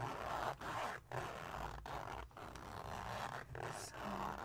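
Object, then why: Glitter-coated fabric pouch with zipper. A small silver glitter-coated cosmetic pouch with a red zipper is held against a table while fingertips and nails slide along the zipper and scratch it. A continuous mid-range rasping scrape is heard, broken by a few brief pauses.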